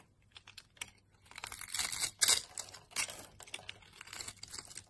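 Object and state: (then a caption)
Soap bar cut with a knife. A utility knife scrapes and cuts scored cubes off a solid yellow soap bar held in the palm. The sound is a quiet series of bright, crisp scraping and crackling clicks, with louder rasping cuts in the middle.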